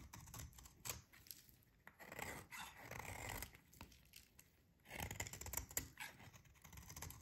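A metal utility blade shaves long curls from the edge of a solid, dry, pink rectangular soap bar held in hands. Quiet, crackly scraping strokes come in uneven bursts, with a dry, bright hiss over a soft low rustle.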